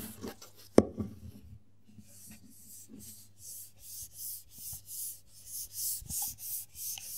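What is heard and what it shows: Fingertips and short nails rub and scratch the black textured plastic cap of a small frosted plastic Diane hair oil bottle held in both hands. After a few soft taps and one sharp click, a steady run of bright, hissy scratching strokes repeats in an even rhythm.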